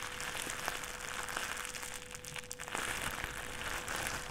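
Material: Plastic.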